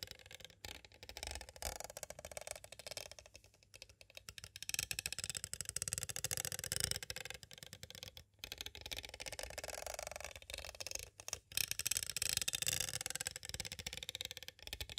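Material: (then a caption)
Plastic. A small, hollow, clear plastic cassette tape case is tapped on its sides with two green plastic stick tools. The result is a steady stream of quick, bright, clicky taps with almost no ring, in varying bursts of intensity.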